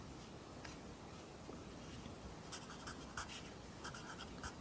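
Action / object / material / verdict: scrape / graphite pencil on lined paper notebook / paper / none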